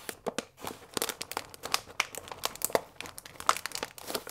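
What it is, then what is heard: Paper pasta bag with plastic window. A full paper fusilli bag with a plastic window lies flat and is rubbed and pressed with both palms and fingers. It makes dense, dry crinkling with many short, bright crackles and almost no low end. The rustling stays continuous and irregular throughout.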